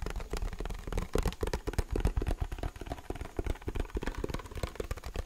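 The hollow plastic underside of a white mechanical keyboard case, where its label sits, is scratched and tapped with fingernails and fingertips. Rapid, irregular taps give dull, low, hollow thuds over a soft scratching texture, each knock dying away almost at once.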